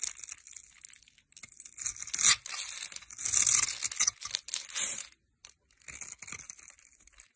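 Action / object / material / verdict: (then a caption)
scrape / bar of soap cut with a metal blade / soap / none. A solid, hand-sized green soap bar held in the hand is shaved and cut with a metal knife blade into fine, crumbly flakes. Bright, crisp scraping and crackling bursts come and go with short pauses between strokes, with almost no low end.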